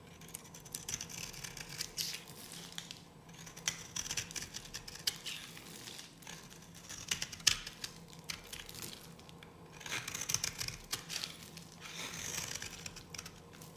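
A solid, dry yellow bar of soap held in the hand is carved with a metal blade, shedding crumbly flakes. Crisp, bright scraping and cutting sounds come in dense bursts of short, dry crackles, with brief quieter pauses between passes of the blade.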